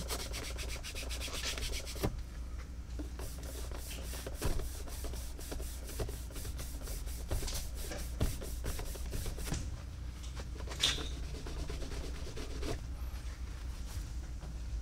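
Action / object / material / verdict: scrape / crocodile leather cowboy boot / crocodile leather / none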